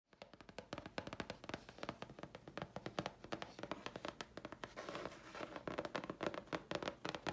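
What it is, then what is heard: Grey chipboard sheet. A thin, flat, letter-size sheet of grey chipboard held upright in both hands is tapped and scratched with long polished fingernails. Quick, dry, papery taps come in rapid, uneven bursts with almost no ring, centered around a hollow mid tone. Stretches of rough scratching fill the gaps, especially in the latter half.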